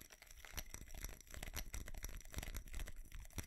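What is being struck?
Small ceramic Christmas tree with plastic bulbs.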